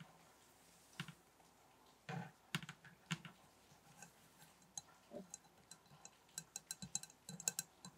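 Fingers tap on a table top in an irregular, quiet run of light taps. The taps are mostly bassy, dull thuds, mixed with short, crisp clicks that stop almost instantly.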